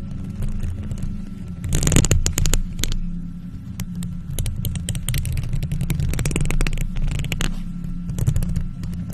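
Both hands in faux leather gloves scratch a hollow silver metal mesh microphone grille with long nails. The result is a dense, rumbling low scrape with a steady low hum underneath, broken by quick bright, raspy scratching bursts that rise and fall in loudness throughout.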